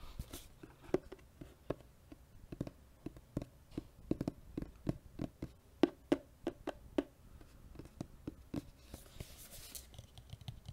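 A medium, hollow white cardboard box that appears empty is held next to the microphone and tapped and scratched with the fingertips and nails. Around thirty quiet, dull, hollow taps land in an irregular rhythm, each with a low boxy thump that stops almost at once. Soft scratchy rustling, brighter near the end, fills the gaps between them.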